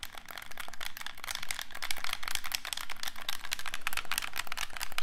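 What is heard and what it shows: A hollow black plastic handheld game controller is held in both hands while its buttons are pressed and clicked with fingertips and thumbs. The result is a rapid, continuous run of short, bright plastic clicks and taps that die away almost instantly, growing slightly louder after the first second and staying busy to the end.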